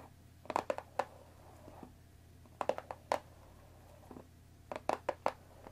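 Long painted nails tap and scratch along the top edge of a hollow, rectangular cardboard Earl Grey tea bag box that holds tea bags. Three bursts of quick, dry clicks with a hollow, papery tone around 930 Hz die away at once, separated by quiet scratching.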